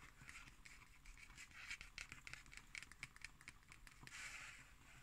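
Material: Cardboard.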